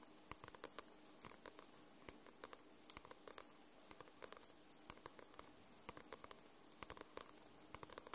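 Long nails tap and scratch the card cover of a white paperback book. Quick, dry clicks and light scratchy rustles come in a steady, irregular patter over a quiet hiss, with no ring after each tap.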